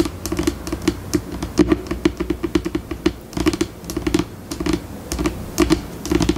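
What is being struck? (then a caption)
Laminate table top tapped with long fingernails. Long pink acrylic nails tap rapidly on a flat, solid white laminate tabletop, recorded close up. The result is a stream of dry, short clicky taps with a woody knock around 320 Hz and bright clicks on top. The pace speeds up and slows down, with brief pauses between bursts.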